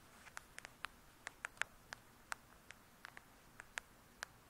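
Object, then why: Glossy hardcover book. Long nails tap and scratch on the glossy cover of a 'True Crime' hardcover book, making 15 quiet, sharp clicks spread unevenly over about four and a half seconds. Each tap is a very short, dry tick centered around 1.6 kHz with bright upper edges and almost no low end, and faint scratching fills the gaps.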